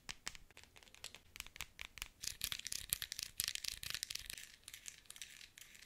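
Long nails tap and scratch along the barrel of a pink plastic novelty pen topped with a small figure, held upright. A rapid run of light, bright clicks blends into a dry, scratchy rustle that swells in the middle and then thins out. The sound is quiet and almost all high-pitched, with little low end.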